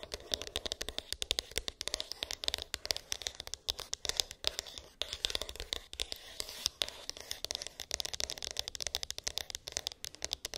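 Long pink acrylic nails rapidly tap and scratch a small, hollow white cardboard iPhone box with an embossed, textured lid; its contents are unknown. The result is a dense stream of dry, crisp clicks and papery scrapes, bright and thin with almost no low end, each hit dying away instantly.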